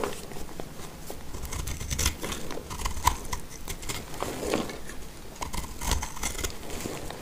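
A black utility knife blade cuts crumbly chunks from a solid, speckled orange, heart-shaped dry soap that is partly cut and held in the hand. The result is a steady run of short, dry scraping and crunching cuts with bright crumbly crackle and faint low thumps, each one stopping almost at once.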